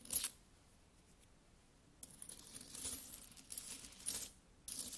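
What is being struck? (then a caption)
Small metal coins. Small solid metal coins are dropped one by one onto an open palm, clinking together in short, bright metallic chinks. A sharp clink opens the clip, followed by a quiet gap, then a run of rustling, jingling clinks as more coins land and settle against each other.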